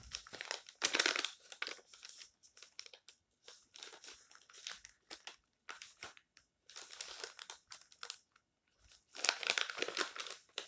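Fingertips rub and lift the thin printed pages of an open paper magazine, showing a coronavirus article spread, as it lies flat on a stack of magazines. The result is bright, crinkly rustling in uneven bursts separated by brief silences, with louder crumpling swells near the start and end.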